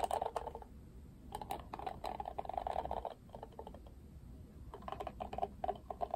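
Fingertips and nails scratch and flick the plastic bristles of a hand-sized, pink-rimmed plastic paddle hairbrush with a black cushion. Quick bursts of dry, ticking clicks centre in the mid-range with almost no ring. Flurries come at the start, in the middle and toward the end, separated by quieter scratchy stretches.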